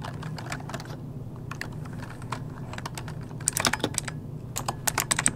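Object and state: Plastic mechanical keyboard.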